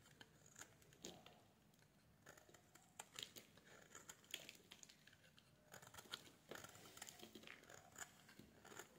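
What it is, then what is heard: Bar soap being scraped. A metal blade scrapes a solid pink bar of soap, shaving off curls that pile up on a wooden table. The sound is quiet, bright, dry scraping and crinkling, with many short, crisp scratches that stop quickly.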